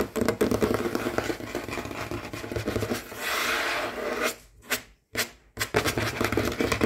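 Short fingernails of both hands scratch and tap fast on a large, solid, dark wooden tabletop, making a dense, rasp-like clatter of dry clicks. Midway a smoother, brighter scratch drags across the surface, then a few separate taps stand out in a brief near-silent gap before the rapid tapping and scratching resume.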